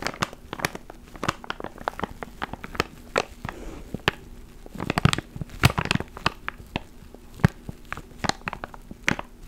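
A small clear plastic ziploc bag holding a black foam mic cover is crinkled and squeezed with fingertips close to the mic. Dense, sharp crackles and crunchy crinkles pop in quick, uneven bursts over a faint low steady hum, with a few louder snaps near the middle.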